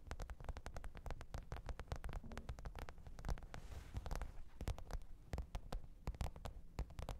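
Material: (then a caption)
Faux leather. Long pointed nails tap and scratch the top of a black, textured faux-leather hard-shell microphone case with a zipper, lying flat on fur. A quick, irregular stream of soft, dry clicks and brief scratches plays over a steady low hum. Each tap is short and dies away almost at once.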